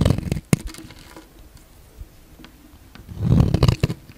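A solid pink bar of soap, held in the hand, is shaved with a utility knife blade, and the flakes pile up. Soft, dull scraping and crinkly crunching come in two bursts, one at the start with a sharp snap near half a second and a louder one about three seconds in. A quiet stretch with faint scratches lies between them.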